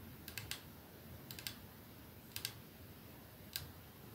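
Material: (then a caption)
Glass. A capsule-shaped glass perfume bottle with clear glass ends and a silver middle band sits on a dark surface and is tapped slowly by one hand with fingertips and nails. Nine short, bright clicks come in small clusters of three, three, two, and one. Each fades almost instantly over a quiet background hiss.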